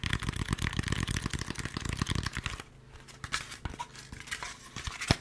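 Fingertips tap rapidly on a white expanded polystyrene foam packaging insert, a hollow molded piece with a cutout held in both hands, making dense, hollow, low thumps with a crinkly edge. After about two and a half seconds the tapping stops, giving way to quieter, scattered scratching, rubbing and bright squeaks of fingers on the foam.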